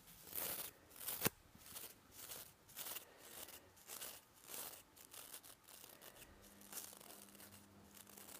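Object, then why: Nylon toothbrush bristles. A fingertip brushes and scratches across the nylon bristles of a plastic toothbrush head held up close, making quick, dry, bristly rasps with a sharp click early on. The strokes come in short repeated bursts, fading into softer, steady scratching with a faint low hum underneath.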